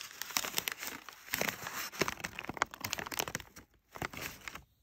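A large sheet of crumpled brown kraft packing paper, thin and flexible, is rubbed and crinkled by fingertips with short nails. Dense, bright crackles and rustles come in quick irregular bursts with brief quiet gaps, each snap dying away almost instantly.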